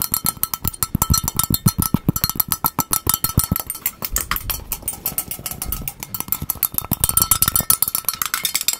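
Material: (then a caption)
Plastic. A small, hollow, empty magenta plastic bowl with a white inside is held in both hands, turned around and tapped rapidly with the fingertips on its outer surface close to the microphone. The result is a fast, continuous stream of short, dry, hollow taps with a low thump and a bright clicky edge that die away almost instantly.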